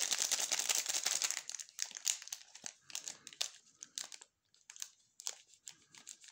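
Gloved fingertips turn over and crinkle the cream-coloured plastic wrapper of a sealed, full waffle bar. A dense, bright crinkling fills the first second and a half, then thins into sparser, sharp plastic crackles separated by brief quiet gaps.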